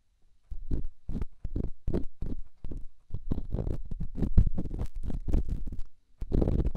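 An elongated, solid, rough rock held in the fingertips is scratched and rubbed inside a silicone microphone ear. This produces a series of deep, muffled scraping and thumping strokes, heavy in low rumble, with short gaps between them.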